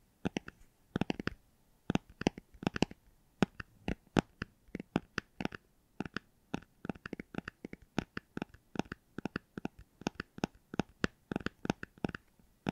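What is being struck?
Hardcover book.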